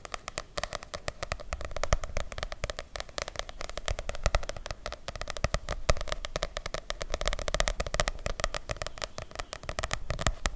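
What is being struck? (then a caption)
Softcover paper book. A medium softcover paperback book with a light blue cover is held close to the mic and tapped and scratched with long nails. Rapid, dense clicking taps and papery scratching run steadily throughout, with a strong low-end thump beneath the bright crackle of the nails.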